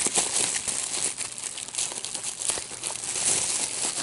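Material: Plastic.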